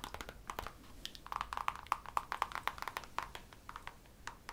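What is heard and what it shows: Long manicured nails tap and scratch along the outer surface and rim of a nude, glossy patent leather high-heel pump with a hollow interior, held in the hands. Quick, irregular clicks come about four per second, each with a brief squeaky tone near 1.2 kHz and almost no ring, over a soft scratchy hiss.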